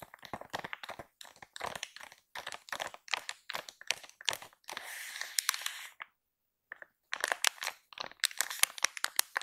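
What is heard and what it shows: Long pink acrylic nails and fingertips tap and scratch across the crinkly top of a full pink and white soft plastic film pack of baby wipes lying flat. Quick, bright crinkling clicks come in rapid bursts, with a steadier hissing scratch near the middle and a brief quiet gap before the tapping resumes.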